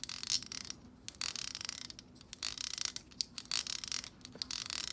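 Long acrylic nails flick and tap the tips of the stiff plastic bristles on a black plastic hair brush. The result is bursts of bright, crisp, dry ticking and rattling that stop almost instantly, with quiet gaps between clusters and almost no low end.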